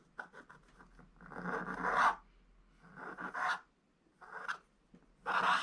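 A wooden stylus, held low, scratches the outline of a sack into a flat, black wax-coated scratch-art paper page. A run of quick, short scratches gives way to longer, rasping strokes that swell and stop with little ring. The scraping is a dry hiss centered in the midrange, with some bright, high edge.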